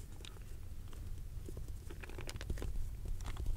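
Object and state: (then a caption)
Newsprint magazine (thin paper). Both hands hold the edges of an old 1992 Florida Sunday Parade newspaper magazine, a flat piece of thin printed paper a few pages thick lying on dark fabric, while the fingertips tap and crinkle it; a pencil lies nearby unused. Soft, irregular taps and papery crackles with brief bright ticks rise over a steady low rumble, growing slightly louder toward the end.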